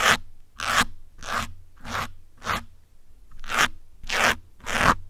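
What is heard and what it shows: Metal pins scratch and poke a grey foam windscreen on a black microphone, making a series of short, bright crunchy scrapes spaced about half a second apart. Each burst is broadband with a dry rustling texture and stops almost at once, with quiet gaps between strokes.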